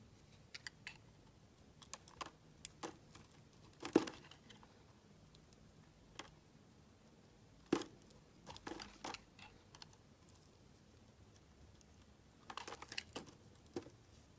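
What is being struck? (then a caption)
Solid bar of soap cut with a metal blade. A hand-sized solid white bar soap with green streaks, held in one hand, has its embossed face carved and scraped with a metal blade while dry soap flakes chip off. Quiet, irregular, crisp scrapes and sharp clicks come in scattered bursts against near silence, each dying away almost instantly with a dry, bright edge.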